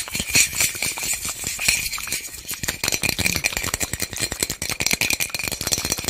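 A small white plastic bottle with loose contents is shaken by hand, producing a dense, continuous rattle of quick, bright clicks and ticks lasting about six seconds. The sound is mostly high-pitched with a steady ring near 2.4 kHz and very little low end, and each click dies away almost at once.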